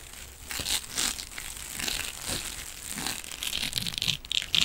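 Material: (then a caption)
Metal mesh. A rectangular silver metallic mesh scrubbing sponge is scratched with the fingernails of both hands. The result is a dense, bright, crinkling scrape with short rasping bursts and a faint metallic ring around 3 kHz, growing sharper and louder toward the end.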